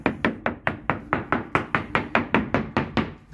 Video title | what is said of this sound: serious structural failure of a yachts keel matrix from a significant grounding. | tap it with the old father's hammer but it actually all sounds pretty good